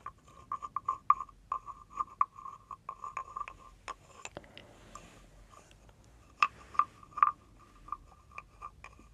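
A wooden stick is scraped along the ridged back of a hand-held carved wooden frog guiro, producing a series of short, dry croaking rasps centred around 1.2 kHz with bright overtones. Quick, light strokes come first, then a softer rustling pause, then a few louder croaks before it trails off into lighter taps.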